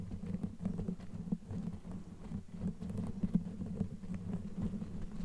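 Long nails scratch and rub a black knitted yarn sleeve fitted over a microphone head, worked with both hands. The result is a dense, muffled patter of soft scratches and rubs, heavy in low frequencies with a steady low tone underneath and almost no bright content.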